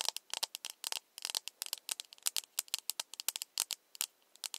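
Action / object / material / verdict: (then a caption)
tap / small plastic cup / plastic / none. A small, empty, hollow plastic cup is held in the hands while its side is tapped with long nails. The taps come as a rapid, irregular run of sharp, dry, high clicks with almost no low end and no ring after each one.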